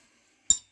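A screwdriver taps the glass face of a small five-inch CRT screen, giving two bright, glassy clinks with a very short ring, the second cut off at the end. The tube is intact and shows no damage from the taps.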